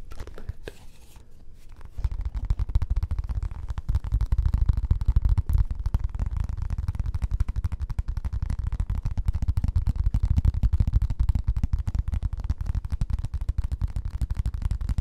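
A round beige plastic ice bucket lid with a central knob, thin and hollow-backed, is held in one hand and tapped and scratched with the fingertips. After about two seconds of quieter scratching, fast, steady tapping sets in, giving dull, low, hollow thuds that die away almost instantly and have little bright content.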